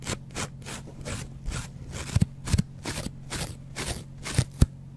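A small, dry yellow foam kitchen sponge with a green scouring pad is held in the hand and scratched with a metal double-edge razor blade in short strokes. A steady series of brief, bright, rasping scrapes repeats throughout, with a few louder, dull low knocks near the middle and end.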